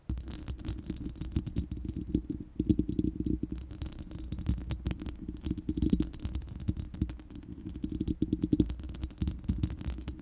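Long manicured nails of both hands scratch and tap the uncovered, hollow round steel mesh grille of a large studio microphone. The result is a dense, continuous stream of quick scratchy clicks and taps over a boomy, hollow low resonance centred around 300 Hz, with brief louder bursts of tapping.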